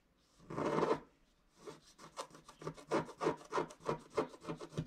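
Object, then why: Wax-coated scratch-art card scraped with a wooden stylus. A wooden stylus scrapes along the upper trunk on a flat scratch-art card of wax-coated paper. One longer, louder scratch comes first, then a brief pause. After that, a rapid, uneven series of about a dozen short, dry scraping strokes follows, with quiet gaps between them.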